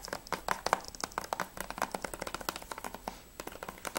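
Fingertips tap rapidly on the front cover of a closed hard plastic PS3 game case for Spec Ops: The Line, with a clear sleeve, held in both hands. About two dozen quick, dry, clicky taps with a hollow plastic tone around 900 Hz have almost no ring, and there is a brief pause just after the three-second mark before the tapping resumes.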